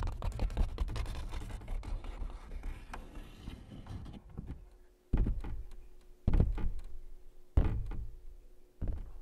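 Fingertips tap and scratch across the surface of a large stretched canvas print, making a dense, rapid run of dull, low scratching and tapping for about four seconds. Then come four separate, heavier thumps, each fading quickly with a soft scuffing tail.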